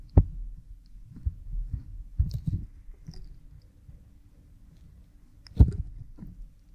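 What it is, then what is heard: Silicone ear microphone being rubbed. A cotton swab rubs behind an oiled pink silicone ear model microphone, producing close, muffled low rubbing and soft thudding. Sharper bumps stand out near the start and again later, with quieter scraping swells in between and almost nothing bright above the low rumble.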